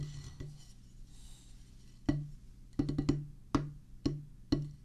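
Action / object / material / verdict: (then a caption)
strike / rubber drum practice pad on a wooden base / rubber / none. A solid oval drum practice pad, a black rubber top on a pressboard/wood base, is tapped with wooden drumsticks. A few soft early taps are followed by sharp, dry, woody hits at an uneven pace, including a quick cluster near the middle. Each hit dies away almost at once over a steady low tone.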